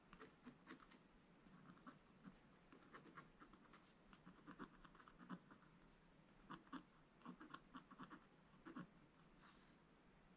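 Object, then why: Black-coated scratch-art paper with wooden stylus. A wooden stylus scratches lines into a black-coated scratch-art page while the other hand holds the book. Quiet, dry, scratchy strokes come in short bursts over a soft steady hiss, with each stroke ending almost at once.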